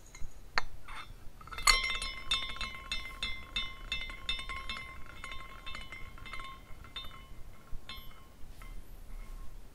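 A small clear glass carousel figurine is spun by its top with the fingers and later nudged with a fingertip, so its hanging glass horses tinkle against one another as it turns. Bright, quick clinks ring out around 2 kHz and decay fast, thinning out toward the end over a faint low background hum.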